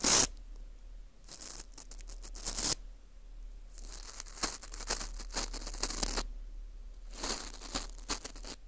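A teal rubber-tipped earpick scrapes and scratches inside the centre hole of a small hollowed-out ring of dry, porous, crispy baked wheat gluten (fu), held in a gloved hand in front of a mic. Bursts of bright, dry crackling and rasping scrapes come and go in close, papery textures, with quieter scratchy passages in between.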